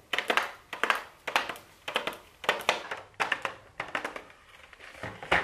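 Super long blue acrylic nails tap on a pink "MAKE STUDIO" cardboard makeup palette box with a clear plastic window, held in the hands. The taps come in quick, uneven bursts of short, dry clicks with a bright, papery edge and almost no low end, each dying away fast.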